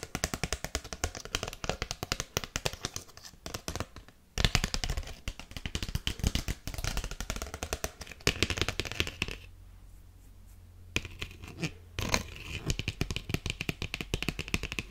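Long painted nails tap and scratch on a small, thin, flat folded paper-cardstock Father's Day card with a bear on the cover. Quick, dry, close-up taps and papery scratches run almost continuously, broken by a brief pause near 4 seconds and a quieter stretch around 9.5 to 11 seconds where a low hum remains.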